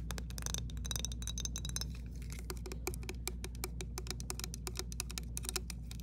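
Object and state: Glass jar with water, tapped with fingernails.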